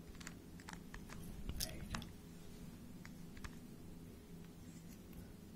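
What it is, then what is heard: Plastic puzzle cube being turned. A small hollow plastic 3x3 Rubik's speed cube is held in both hands while fingertips twist its layers, producing rapid, irregular, sharp clicks with bright edges. The clicks are quiet and sit over a steady low hum, with a louder cluster of twists near the middle.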